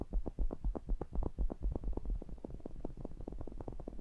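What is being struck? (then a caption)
Metal mesh grille of a pencil condenser microphone. Fingertips tap and rub the mesh grilles of a pair of small cylindrical metal pencil condenser microphones. The result is a rapid, fairly uneven stream of soft, dull thumps, about four per second, deep and boomy with almost no high end. Each thump dies away almost at once under a low rumbling texture.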